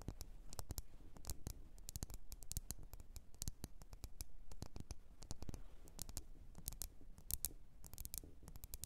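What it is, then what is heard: Glass candle jar tapped with fingernails. Long orange-red nails tap and scratch the glass sides of a lit, medium-size red glass candle jar with white printed text, filled with wax and resting on a fluffy rug. The result is a quiet, steady stream of rapid, sharp clicky taps with bright edges and quick scratching, each hit dying away almost instantly over a soft low background.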